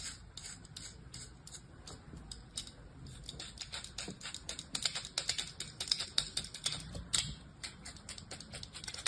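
A flattened patch of beige kinetic sand resting on a palm is scored and scratched with the blade of an orange plastic knife in fast, repeated strokes. Each stroke makes a short, dry, bright scraping crackle with almost no ring, and the strokes come in a rapid, uneven stream that grows louder and denser through the middle of the clip.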